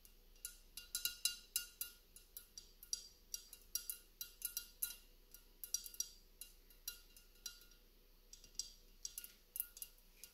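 Fingertips and nails tap and scratch the outer surface of a mercury glass candle holder, a hollow gold-flecked glass candle cup on a black iron stand. About thirty quiet, bright glassy clinks and ticks come in irregular bursts, each dying away almost at once, with a faint scratchy hiss between them.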